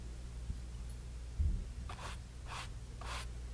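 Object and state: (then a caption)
Stretched cotton canvas panel. A flat brush with a teal-stained head is rubbed lightly across a small, blank, white stretched cotton canvas panel, taut fabric over a hollow frame, resting on a wooden table. Two soft low knocks from the panel come first, followed by quiet, airy brushing strokes that swish with a bright hiss over a steady low hum.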